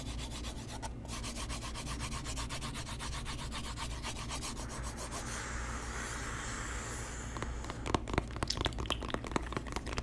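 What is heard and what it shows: A small hollow white cardboard box is held in both hands while fingertips rub and scratch its surface. A quick, rhythmic dry scratching runs through the first half, softens into a smoother brushing hiss, then gives way to sharper, louder scratches and taps near the end, all over a steady low hum.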